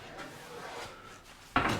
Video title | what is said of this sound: Wie man ein echt gutes Brot backt - SWR Handwerkskunst | That sounds like knocking on a wooden door - then it's done.